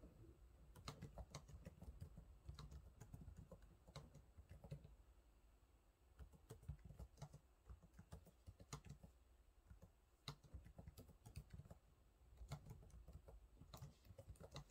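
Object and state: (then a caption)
Plastic laptop keyboard being typed on. Fingertips type on the low-profile plastic keys of a silver laptop keyboard, producing quiet, irregular bursts of soft taps and clicks. The sound is dull and low-weighted, with brief bright ticks on sharper strokes, and each tap dies away almost instantly.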